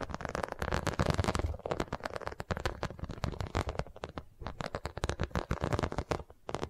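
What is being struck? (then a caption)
Vinyl zippered pouch. Long nails tap and scratch the embossed surface of an iridescent holographic vinyl zippered cosmetic pouch held close to the mic. The result is a rapid, uneven run of dry, crackly clicks and scrapes with a soft low thud under each touch and bright edges on the sharper taps. Each sound stops almost instantly, with no ring.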